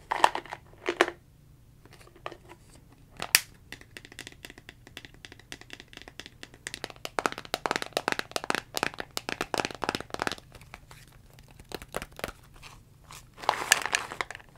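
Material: Plastic.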